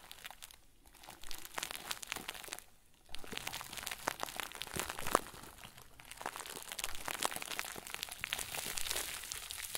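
A round white plastic bag stuffed into a crinkle ball is crumpled and squeezed by the fingertips of both hands. It gives dense, bright crinkling and crunching with sharp little crackles and a brief near-silent pause around the three-second mark. The crinkling then continues steadily to the end.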